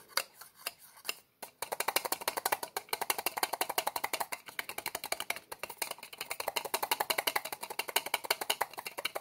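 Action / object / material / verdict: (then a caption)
scrape / plastic medicine bottle with plastic screw cap / plastic / none. Fingers twist and pull at the white plastic cap of a small, hollow orange plastic medicine bottle with a label, working the cap against its threads. A few scattered clicks give way to a rapid, steady run of short, bright plastic ticks and scrapes with almost no low end.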